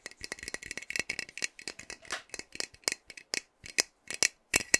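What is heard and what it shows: A pink-capped metal aerosol hair spray can, partly full, is held in one hand and shaken, with some nail tapping on it. Quick, bright rattling clicks and light taps repeat in irregular bursts, with almost no low end and a high, tinny ring around 2 kHz.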